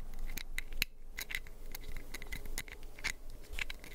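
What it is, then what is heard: Plastic pill bottle scratched. A small orange plastic prescription pill bottle with a white cap is held close to the mic while fingernails scratch its cap and sides. Quick, irregular, bright scratchy clicks and ticks come in a steady flurry, some with a thin plastic ping, over a faint low hiss.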